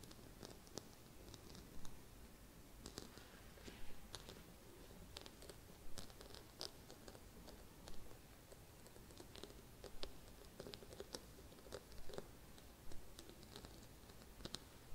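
Long red-painted nails scratch the rough glittery surface of a small, round, gold glitter-coated Christmas bauble. Soft, gritty scratching is heard with brief bright crackles and clicks, and louder bursts come about every two seconds over a quiet low hum.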